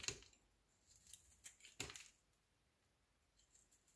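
A solid, elongated beige-yellow soap bar held in the fingers is shaved and scored with a metal utility knife blade. Short, bright scraping cuts with crisp high hiss come in quick bursts, the strongest early and near the middle, with little low end. Fainter scratches trail off into a quiet end.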